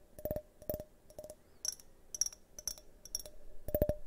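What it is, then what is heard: Glass tumbler tapped with fingernails. A hand-sized, hollow, multicolored tinted glass drinking tumbler is turned in the hands and tapped with fingernails. The result is quick clusters of sharp clicking taps, some carrying a short, clear ring around 600 Hz that fades almost at once, while others sound as brighter, high ticks.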